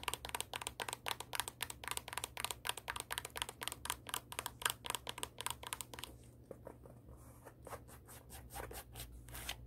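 Long acrylic nails rapidly scratch and tap the tan sole of a black high-heel shoe, making dense, crisp clicks and scrapes. After about six seconds the taps grow softer and sparser over a low steady hum.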